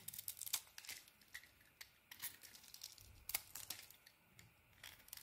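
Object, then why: Bar of soap. A purple and cream solid bar of soap, held in the hand, is shaved with a craft blade. Quiet, bright, crisp scraping and crackling strokes come in an irregular rapid series, each one dying away almost instantly, with hardly any low end.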